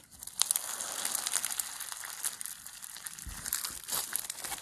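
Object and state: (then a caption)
Foam bead slime (floam) being squeezed. A solid lump of pastel foam bead slime (floam) is squeezed and stretched between both hands with the fingers. It gives off a steady stream of quiet, bright crackling and crinkling pops as the beads shift and press together.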